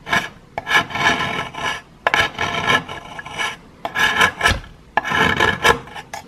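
A metal knife blade scrapes a solid piece of plaster held above a pile of powder, making repeated gritty, raspy strokes in bursts separated by short pauses. The scraping is mostly mid and high, with a faint squealing tone near 1.7 kHz.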